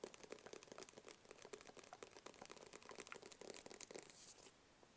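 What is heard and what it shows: Fingertips and nails tap rapidly on a small, hollow, rigid black cardboard box held in both hands. The quick, dry taps carry a hollow midrange knock with crisp nail clicks on top, each dying away almost instantly. The tapping stops just before the end, leaving a faint hiss.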